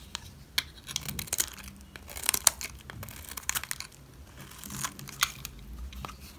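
A solid green dry soap bar is held in hands with long red nails and scraped with a metal utility blade, shaving curls that fall onto a cloth. Quick, bright, crisp scraping and crinkly tearing strokes come in uneven bursts over a faint low hum.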